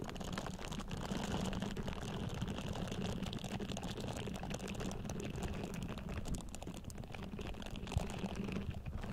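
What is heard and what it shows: Long painted nails repeatedly scratch the bristles of a pink silicone facial cleansing pad resting on a Blue Yeti microphone. The result is a steady, dense, close-up scratching and rustling with a heavy low rumble and a faint bright edge, keeping an even level throughout.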